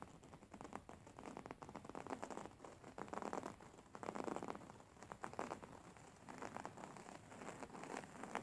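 A beige printed fabric throw pillow, held upright, is scratched and rubbed by fingertips and nails. The result is a quiet, dense, crackling scratch with a rain-like patter, swelling and easing in uneven bursts and centered in the midrange.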